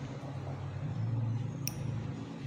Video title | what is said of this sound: Yes nakakita Ako ng AMBER PETRIFIED WOOD | Ganyan ang tunog ng bato. Bato to bato.